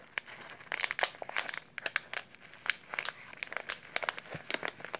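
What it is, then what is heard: Kraft paper oatmeal pouch. Latex-gloved hands squeeze and crinkle a small, filled, brown kraft paper instant oatmeal pouch. Dense, dry crinkling comes with many sharp, bright crackles and almost no low end. Each crackle stops instantly with no ring.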